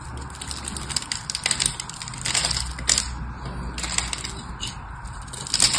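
A small craft blade carves shallow cubes into the face of a solid, dry, hand-sized rectangular bar of blue soap held in one hand. Bright, crisp scraping and crumbling ticks come in quick bursts, with several sharper cracks as pieces break away over a faint low hum.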